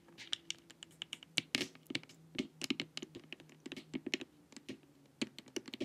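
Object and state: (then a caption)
Plastic LED face mask. Long nails tap and scratch across the top and sides of a glossy, hollow plastic LED face mask. About two dozen quick, bright clicking taps land in an uneven, rapid run, mixed with short scraping scratches over a faint low steady hum.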